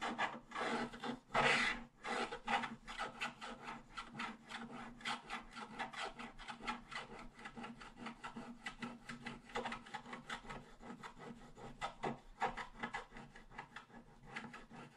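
A wooden stylus scratches across a flat, black-coated scratch-art page held down by one hand, working along the right side and then the bottom edge. The result is a fast, irregular run of dry, bright rasping strokes, with a louder burst near the start.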